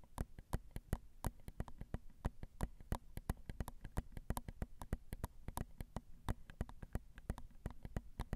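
Long pointed acrylic nails tap quickly and steadily on the grilles of crossed, small, hollow silver metal X/Y microphone capsules on a Zoom recorder. Each tap is a short, dry click with a soft, low thump and almost no ring. The taps form a quiet, continuous patter.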